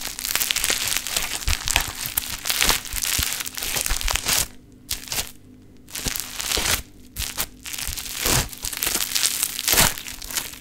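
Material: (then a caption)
Foam beads. A large pink sheet of play foam (foam bead modelling clay) is stretched out and squashed together with both hands, giving dense, bright crunching and crackling bead sounds. The crackle comes in bursts, with brief near-silent pauses partway through before the squashing resumes.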